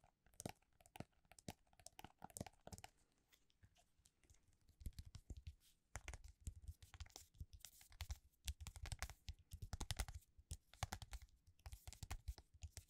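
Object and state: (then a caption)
Hardcover paper book. A large, solid hardcover book, "The Emperors of Rome," with a dark red cover is held up, then laid flat and tapped on its cover and spine with fingertips and short nails. Quiet, crisp clicks and papery crinkling come first. From about five seconds on, they give way to denser, deeper thumping taps with sharp, fast-fading attacks.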